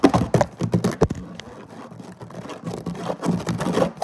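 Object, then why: Woven synthetic-fibre placemat. Both hands' fingertips and short nails scratch quickly across a flat woven synthetic-fiber placemat lying on a table. Fast, dense bursts of dry scratching and tapping cluster at the start and end, with a softer, steadier rasp in between.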